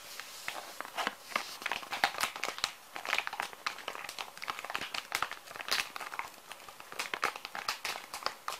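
Fingers rub and crinkle the surface of a small, full plastic-film wet wipes pouch. The result is a steady stream of dry, bright crackles and sharp crinkling snaps with almost no low end. Each crinkle dies away almost instantly throughout the clip.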